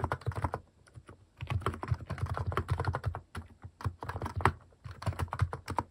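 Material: Plastic.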